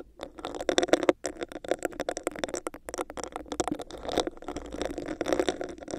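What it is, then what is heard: Textured plastic cup, hollow. Long nails tap and scratch a hollow, clear, bumpy textured plastic cup placed over a microphone. The result is a dense, rapid patter of hollow clicks and scrapes with a mid-range resonance around 340 Hz and bright ticking edges. Each tap dies away almost instantly.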